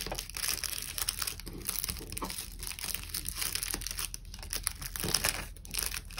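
A small, thin sheet of brown kraft honeycomb packing paper lying on a desk is pressed, folded and crumpled flat by bare fingertips while wrapping, with other packing items nearby left untouched. A steady stream of bright, dry crinkling and crushing crackles runs throughout, with short sharp peaks over a faint low rumble.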